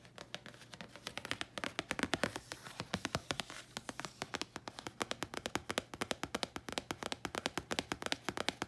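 Long nails tap and scratch a thin red printed paper card held up close. The result is a rapid, steady run of short, dry clicks with bright crisp edges and almost no ring, alongside soft scratchy brushing and a faint low hum underneath.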